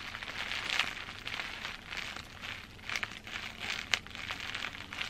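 Fingers with long green-painted nails grip and scratch a large crumpled mass of clear plastic bubble wrap close up. The result is a steady bright crinkling and rustling, with a few sharper pops and crackles standing out above it.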